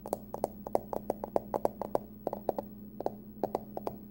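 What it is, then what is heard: Aluminum card wallet, hollow. Long nails tap and scratch the curved top of a small, hollow, closed hard-shell card wallet, likely aluminum, with a pumpkin print. About twenty short, dry clicks with a hollow tone around 560 Hz come in quick, uneven bursts, each dying away almost at once. A faint steady low hum runs underneath throughout.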